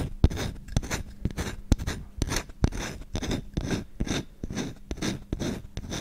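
A solid wooden kitchen spoon with visible grain is held in the hand while its bowl is scratched quickly with short fingernails and fingertips. Rapid, rhythmic scratching strokes each give a dry, rasping burst with a bright hiss on top and a low thump underneath. Occasional sharp clicks stand out where a nail catches the wood.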